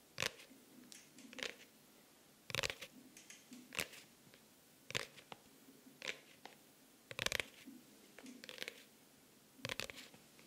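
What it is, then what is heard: Faux-leather hardcover notebook. A pink faux-leather hardcover notebook with an orange elastic band is scratched and tapped with nails on its cover and edges, held next to the microphone. Sharp, bright taps alternate irregularly with softer scratching. Each sound is crisp and dies out almost instantly, with very little low end.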